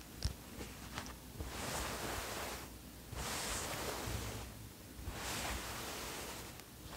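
Fingertips fiddle with and scratch the zipper pull of a green cotton zip hoodie, giving a few small sharp clicks, then rub the fabric in broad, soft rustling swells that rise and fade in waves.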